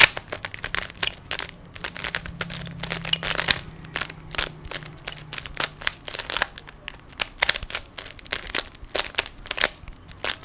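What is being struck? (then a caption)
Plastic 3x3 puzzle cube. A small, hand-sized solid plastic 3x3 Rubik's cube is held in both hands while fingertips twist its layers. This produces a rapid, uneven series of sharp, bright plastic clicks and rattles that stop almost instantly, over a faint low hum.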